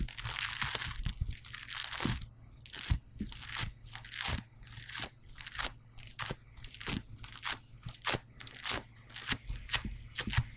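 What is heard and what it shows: Fingertips with short nails press, poke and scratch across yellow polystyrene bead foam clay pressed flat on a table. This produces a bright, crunchy crackle in irregular bursts over a steady low hum.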